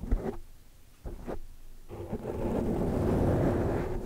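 Long dark-painted nails and fingertips of both hands scratch and brush across a large, soft, porous black foam windscreen over a microphone. Short muffled bursts of scratching give way to a steady, swelling low rustle. The sound is a deep, rumbling brush with almost no bright content.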